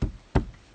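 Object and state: Solid reinforced wall.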